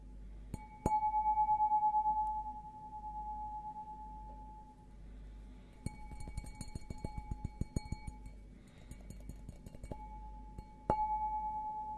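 A clear, empty, hollow stemmed glass beer goblet with a green logo is held in one hand and tapped with the fingertips of the other, ringing like a bell with a sustained tone near 860 Hz. A firm tap near the start rings out and slowly fades, a run of quicker, lighter taps follows in the middle, and a final strong tap near the end rings on. A steady low hum sits underneath throughout.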